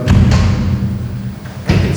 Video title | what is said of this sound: EBB - Finishes - 05 Interior Finishes, Floor, Wall and Ceiling | the shaft is equipped with the sort of structure of metal profiles and these are covered with gypsum board